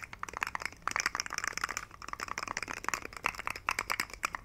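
A hand-sized rainbow plastic fidget slug with hollow jointed segments is held up by the fingertips and wiggled and shaken. Its segments give off a rapid, irregular run of short, dry, bright clicks and rattles, with almost no low end and no ring after each click.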